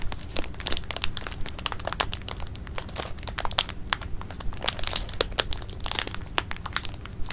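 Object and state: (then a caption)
Plastic bag of jelly beans being crinkled. A clear plastic bag of jelly beans is held in the palm while fingers squeeze and crinkle it. Dense, irregular bright crackles and crinkling snaps pop out over a steady low rumble, the bag rustling continuously throughout.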